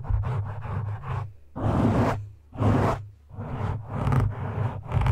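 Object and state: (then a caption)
Foam microphone windscreen being scratched. Fingertips and short nails of both hands scratch and grip a soft, porous black foam windscreen covering a microphone over a hollow metal grille. This produces close, boomy bursts of scratchy rustling with a heavy low-end rumble. The bursts swell and fade at an uneven pace, with brief quieter gaps between them.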